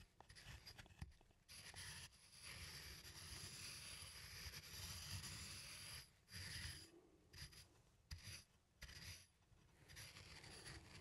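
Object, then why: Wooden mortar and pestle. A wooden pestle, held by plastic hands, is ground with a circular rubbing motion inside a small, hollow, turned wooden mortar that appears empty. The result is a rasping wood-on-wood scrape, broad and bright with a low rumble underneath. It runs mostly continuously, with brief pauses and uneven swells as the grinding goes on.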